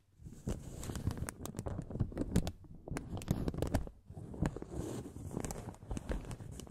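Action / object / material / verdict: scrape / thin paper blotting sheet / paper / none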